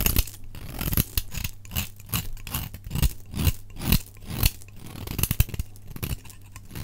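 A solid, dry cream-white Fa soap bar, held in the hand, is shaved with a utility knife blade into crumbly flakes, sped up to double speed. A quick run of dry, crisp scraping and cutting strokes crackles with bright edges, while a low steady hum runs underneath.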